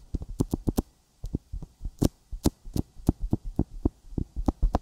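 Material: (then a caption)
Silicone. Fingertips tap a sticky silicone binaural microphone ear coated with petroleum jelly in quick, uneven bursts. Each tap is a short, dull, low thump with a faint bright tacky click, close and muffled, and it stops at once with no ring.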